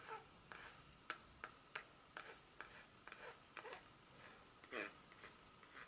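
A solid, flat dark chocolate bar held in the hand has its smooth back surface scratched with long pointed nails, leaving visible scratch marks. About nine short, dry scratching strokes sound over a faint background, each a crisp, bright rasp with a steady tone near 1.3 kHz and almost no low end. The strokes stop quickly with no ring.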